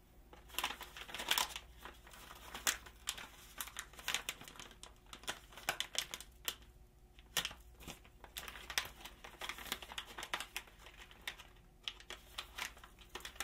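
Black-gloved hands handle, flip and crinkle a medium resealable stand-up pouch of crispy seaweed snack, made of kraft-printed foil-laminated plastic, which looks full and sealed. The result is dense, bright crinkling with sharp crackles and rustles that come in bursts, separated by brief quieter pauses, and very little low-end body.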